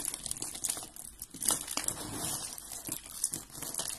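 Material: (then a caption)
Soap. A pile of dry white and blue soap curls and small flakes on a gold surface is crumbled and rubbed between fingertips with red-painted nails. A steady stream of bright, dry crinkling and crunching is heard, with many quick, closely spaced crackles.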